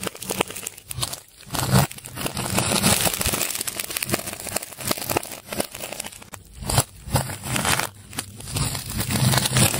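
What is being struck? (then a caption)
Ball of layered plastic tape. A metal scalpel cuts and scrapes into a large solid ball of layered colored plastic tape held in a hand. The result is a steady run of crinkly, crackling tearing and scraping with dense short bursts and some low thumps, swelling and dipping as the blade works through the layers.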